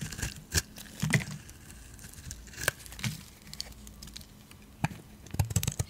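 A hand-sized solid turquoise bar of soap is held in one hand and carved and scraped with a metal utility blade, with flakes falling away. Short, dry crunching scrapes and crisp cracks come in scattered bursts over a quiet background. They grow denser and louder toward the end.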